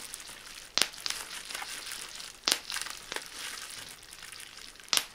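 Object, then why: Plastic bubble wrap sheet. A clear plastic bubble wrap sheet is held bunched in both hands while its bubbles are squeezed and popped with fingertips. Three sharp, bright pops stand out over a steady high crinkling of the plastic film, with smaller snaps in between and almost no low end.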